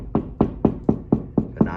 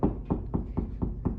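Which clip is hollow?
The first.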